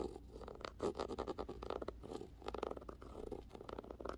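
Rapid dry scratches and light taps of a fingernail across a glossy paperback cover, close and crisp.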